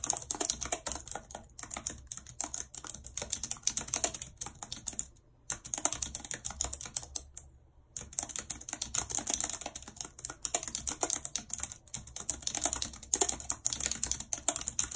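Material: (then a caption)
Plastic. Long red acrylic nails type rapidly on the hollow keys of a full-size white plastic computer keyboard with a numpad, lying on a world map. The result is a dense stream of bright, sharp clicks and clacks that die away almost instantly, broken by two brief pauses around the fifth and eighth seconds.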